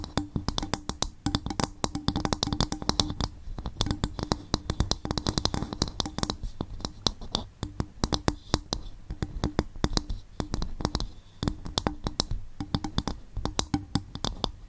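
Fingers tap and scratch on a bowl made from coconut shell in a rapid, continuous stream of short, dry, hollow knocks with a low body around 94 Hz. Soft scraping fills the gaps between taps, and the overall level stays gentle and even.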